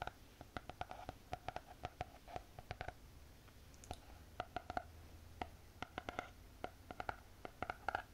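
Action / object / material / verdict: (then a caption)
tap / spiral notebook with cardboard cover / cardboard / none. Long painted fingernails tap on the cover and edge of a closed spiral notebook with a hard cardboard cover. The result is quick, dry clicking taps in uneven bursts, each with a short hollow knock near 770 Hz, and a brief lull partway through.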